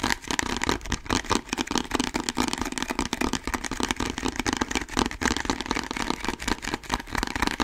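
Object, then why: Plastic bottle. A medium, hollow orange plastic bottle with a label and barcode is held close to the microphone and tapped and scratched quickly with fingertips and nails. Dense, uneven taps with a hollow plastic tone blend with bright scratching into a steady, busy clatter that almost sounds like a rumbling engine.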